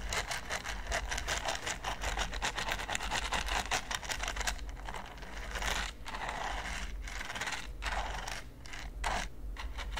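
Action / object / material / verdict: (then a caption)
scrape / silicone pyramid baking mat / silicone / none. A large flat red silicone pyramid baking mat is scraped and brushed with the bristles of a green silicone pastry brush. Quick, steady back-and-forth strokes make a dry, bright scratching rasp over a low steady hum, with a few short pauses between bursts near the end.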